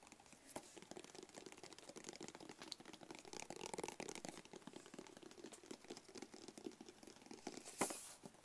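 A small, rigid, hollow black cardboard gift box with a white label is held close and tapped with fingertips and short nails. The result is a steady stream of quick, dry, crinkly taps with a hollow midrange knock and short ring, with one sharper, louder tap near the end.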